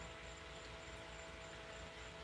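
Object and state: Nothing is struck.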